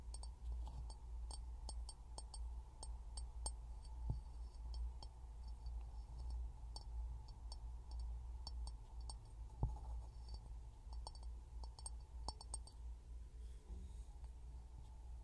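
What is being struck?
Empty glass jar.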